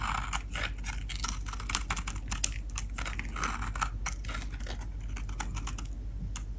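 A metal blade cuts and scrapes dry flakes and shavings from the edge and face of a solid Dalan soap bar painted blue, held in the hands. Rapid, crisp crunching and scraping bursts come one after another with bright edges, over a steady low hum.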